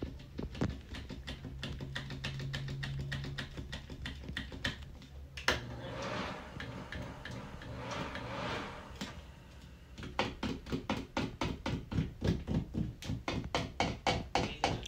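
Fingertips with dark-painted nails tap the brushed stainless metal cover plate of a wall-mounted double light switch and flick its two plastic toggles; the plate sits solid and flat against the wall. Quick, short clicks and taps repeat over a steady low hum, easing into a softer, scratchier stretch in the middle before sharper, more distinct taps return.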